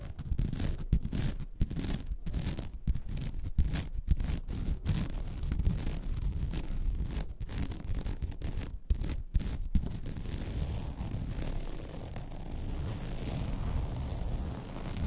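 Long red nails scratch the textured surface of a flat, white woven vinyl mesh placemat. The result is a dense, low, rough scraping with brief pauses during the first ten seconds, then a steadier, softer rubbing to the end.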